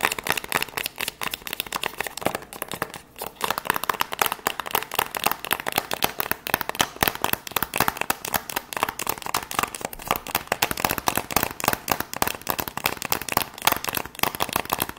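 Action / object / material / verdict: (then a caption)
tap / small cardboard box / cardboard / none. Long acrylic nails tap and scratch quickly across the faces and edges of a small, hollow white cardboard product box held in the hand. It makes a dense, continuous stream of dry, crackly clicks and scratchy rasps with bright highs and almost no low end. Each tap dies away instantly, with no ringing.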